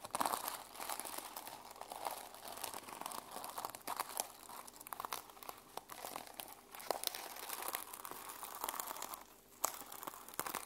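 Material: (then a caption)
Sequins. A small journal with a teal and silver reversible sequin-covered fabric cover is held in the hands while fingernails scratch and flip the sequins. The result is a continuous dense, bright crinkling rasp with many quick clicks and crunches and no ringing tail.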